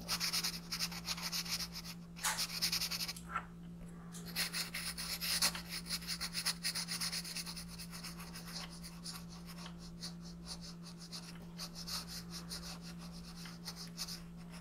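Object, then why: Colored pencil on paper sheet over wooden desk. A green colored pencil, held in the fingertips, colors a thin printed paper sheet lying flat on a wooden desk. It makes continuous bright, rubbing and scratching strokes, with a brief lull near the four-second mark. A steady low hum runs underneath throughout.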